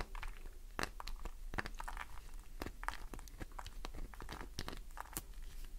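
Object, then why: Glycerin soap bar. A fingernail scratches over the flaked surface of a solid green glycerin soap bar. The result is a quiet, rapid run of short, dry crackling and crunching scrapes with brief bright clicks, over a steady low hum.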